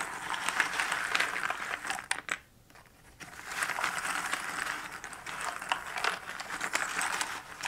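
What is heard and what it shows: Fingertips sweep and stir many small cardboard jigsaw puzzle pieces across the bottom of a shallow cardboard box lid, making a dense, bright rattle of crisp clicks and papery scrapes. The shuffling drops to near silence for about a second midway, then resumes just as busily until the end.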